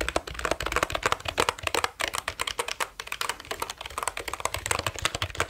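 Fingertips type quickly on a black plastic computer keyboard with orange keys, held near the mic. A rapid, uneven stream of sharp, dry plastic clicks and clacks comes through, bright and crisp with little low end, each keystroke dying away almost instantly.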